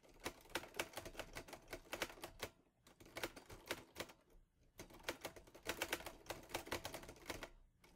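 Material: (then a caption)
Metal. Fingertips type on the keys of a teal metal portable Olivetti Lettera 22 typewriter. Quick runs of sharp, bright metallic clacks die away almost instantly and come in bursts, with short pauses near the third and fifth seconds.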